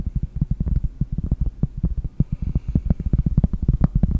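Long painted nails tap rapidly on a large, round, solid cork trivet held close in front of the mic. The result is a quick, uneven run of soft, dull thuds that are almost all low in pitch, muffled, and stop dead with no ring.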